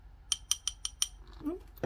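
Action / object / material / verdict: tap / glass pendant / glass / none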